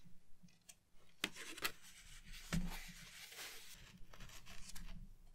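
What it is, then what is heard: Cardboard backing of a paper pad. Long painted nails tap along the surface and top edge of the large, flat, white cardboard backing of a watercolor paper pad, which is solid and stiff and held upright in both hands. Quiet, sharp, dry clicks stand out over soft, scratchy rubbing and a faint low rumble, and each tap dies away almost instantly.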